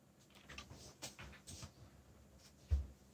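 Fingertips, one wearing a bandage, press the keys of a backlit mechanical computer keyboard with black plastic keycaps bearing Korean legends, in steady typing taps. The quiet, dull, low thuds are short with little ring, and one sharper, louder tap lands near the end.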